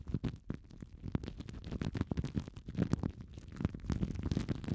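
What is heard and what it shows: Clear, thin plastic cling film wrapped around two small foam mic windshields is crinkled and squeezed by both hands with fingertips and long nails. Dense, dry crackles and soft rustling sit mostly in the low range, with many short, quick bursts and no lingering ring.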